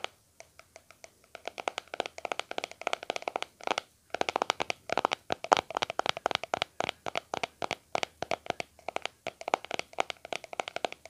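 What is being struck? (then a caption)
Small plastic cream tub. Fingertips tap the flat lid and sides of a small round white plastic aloe vera cream tub with a blue label, held in both hands. The taps are rapid, dry and hollow, clicking with a mid-range plastic tone and bright edges, and they die away instantly. They start sparse, speed into a steady flurry, pause briefly near four seconds, then continue in quick bursts.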